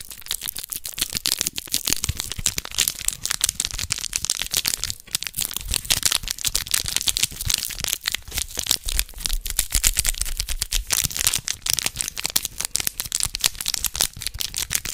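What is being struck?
Small sealed foil packet.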